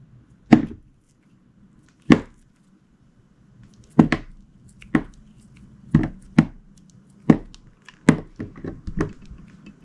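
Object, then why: Glycerin soap bar cut with a knife blade. A translucent green, glittery, heart-shaped glycerin soap bar, solid and hand-sized, is held in the fingers and sliced into chunks with a utility knife blade, cutting and scraping. Soft, dull, chopping thunks come at first spaced apart and then faster, each with a short scrape and quick decay. The last few cuts crowd together near the end.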